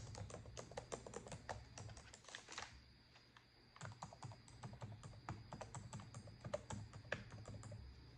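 Long decorated acrylic nails type on a black plastic laptop keyboard, producing steady, quick plastic key clicks with a brief pause near the middle before the typing resumes.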